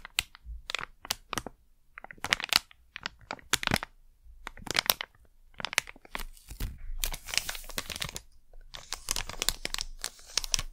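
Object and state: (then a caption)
Crinkled plastic packet. A small plastic Blu-Tack pouch is crinkled, flattened and rubbed with fingertips and long nails. Sharp, bright crinkles come in quick, separate bursts and later merge into denser, sustained rustling. The sound is crisp and dry, with almost no ring after each crackle.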